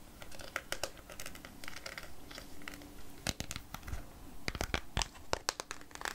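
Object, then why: Small plastic cup of fruit in syrup. Long nails tap a small clear plastic cup full of peach chunks in syrup. The result is a string of quick, sharp, bright clicks, irregularly spaced, over a soft crinkly plastic rustle.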